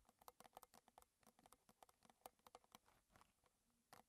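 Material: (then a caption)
Metal. Long red nails tap quickly on the sides of a small, square, closed metal tin of Twinings Gunpowder green tea with a gold lid, likely partly filled with tea, standing on a table. About two dozen quiet, dry ticks sound in an uneven patter, each with a brief metallic ping around 750 Hz and bright clicky edges that die away almost at once.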